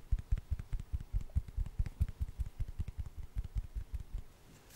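Long orange nails tap rapidly on a hand-sized solid wood slice with a bark edge, close to the microphone. Seventeen soft, dull, low thuds come in an uneven rhythm, each dying away almost at once, before the tapping fades to quiet at the end.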